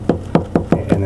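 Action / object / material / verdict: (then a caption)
knock / drywall over a wooden stud / drywall / solid. Five knocks on drywall over a wooden stud, at a hole in the wall that sits on the stud. Each knock is a short, dull, low thud that dies away almost immediately. The wall sounds solid, marking the stud location.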